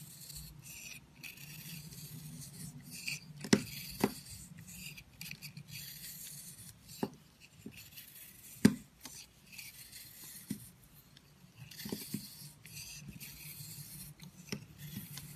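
A utility-knife blade, held in a hand with long white nails, shaves and cuts into a solid, palm-sized, hand-held chunk of dry, crumbly purple soap. Soft, steady scraping and rasping is broken by irregular sharp, dry clicks and snaps as pieces crack away, with no ring after each one.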